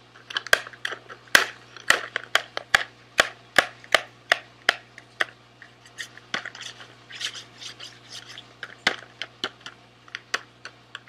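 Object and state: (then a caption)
Cardboard candy box. A small, sealed SweetTarts cardboard box, hollow and filled with candy, is held in both hands and rubbed and scratched with fingertips and nails. The result is a quick series of sharp, dry scratches and scrapes, bright and papery, centred around 1.6 kHz, with softer rustling rubs between them. A faint steady low hum runs underneath.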